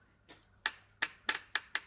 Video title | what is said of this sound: 老太爷留500斤古董银盘，小伙打算八千万出手，赶紧拿来鉴定估价【小闫打铁镯】 | 跟银子啊，一点都不沾边铁定是假的